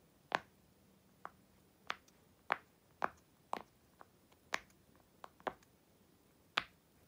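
Fingertips and long white nails push and pop the hollow bubbles of a flipped-over blue and purple silicone unicorn pop-it toy, held in both hands on a black surface. About ten short, sharp, bright pops land at uneven intervals over quiet background, each dying away almost instantly.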